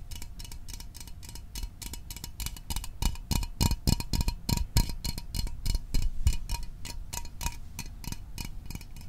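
Fingernails tap quickly and somewhat unevenly on the sides of a small, hollow Fanta orange aluminium drink can held in the hands. Each tap is a short, bright metallic click with a faint tinny ring. The tapping grows louder in the middle and then softens again.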